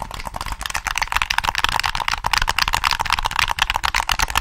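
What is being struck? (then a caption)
Plastic game controller. Fingertips tap and click the triggers and shell of a hollow black plastic PS3 controller held close to the microphone. Rapid, irregular, dry plastic clicks and taps tumble over one another, bright and hollow-sounding, each dying out almost instantly.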